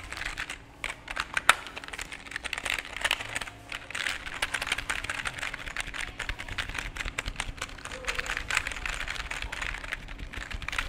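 A full-size black and grey plastic computer keyboard with a cable is held in both hands close to the microphone while fingertips tap and press its plastic keys over and over. Dense, rapid, bright clicks and clacks run throughout with no ring, one sharper click standing out near the start. A faint steady low hum sits underneath.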